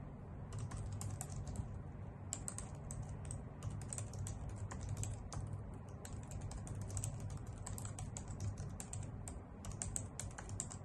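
Long nails and fingertips type steadily on a white full-size plastic keyboard with hollow key caps. The result is a continuous run of quick, bright clicky taps over a steady low hum.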